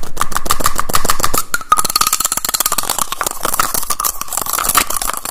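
Fingers rapidly pull apart and snap together the cap of a small teal plastic cylindrical tube case. The result is a fast, loud, continuous stream of sharp plastic clicks with a faint tonal ring around 1.2 kHz, holding a rapid pace throughout with only a brief dip in the middle.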